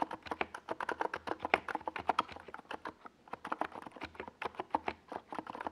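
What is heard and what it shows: Fingertips of both hands type on a NiZ Plum Atom 68, a compact 68-key plastic mechanical keyboard with a white plastic case and tall purple and yellow Domikey Gas Attack SA plastic keycaps, resting on a desk pad. Rapid, crisp, clacky keystrokes with a mid-pitched tone stop quickly, and the typing briefly pauses around the midpoint before resuming.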